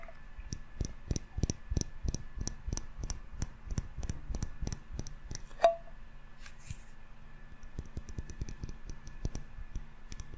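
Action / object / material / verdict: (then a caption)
tap / small glass candle jar with metal lid / glass / none. A small glass jar candle full of solid yellow wax, with a metal lid, is held close and tapped with fingertips and short nails on the glass and the lid. Quick, soft, low taps come in a steady run with dry, brief decays and faint bright clicks, and one sharper tap partway through gives a short ringing ping.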